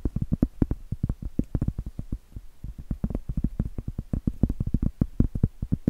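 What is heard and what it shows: Blue acrylic nails tap and scratch the flat face of a round solid cork trivet. The result is a quick, uneven run of dull, muffled taps and soft scrapes that are mostly low in tone. Each tap dies away almost instantly, with no bright ring.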